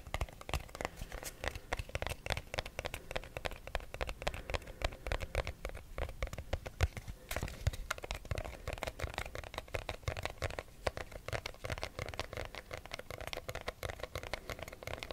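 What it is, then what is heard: Cardboard box tapped and scratched. A small, hollow, rigid white cardboard box is held in both hands close to the mic and tapped and scratched with short fingernails. Rapid, dense, dry taps with a low hollow thump mix with crinkly scratching, and each tap dies away almost at once. The tapping stays steady and continuous throughout.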